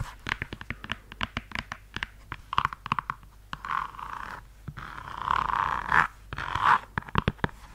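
A red suede stiletto pump is held upright by the mic while long yellow nails tap and scratch along its suede upper. Quick, crisp taps alternate with brief soft scraping passages, centered in the mid range with little low end.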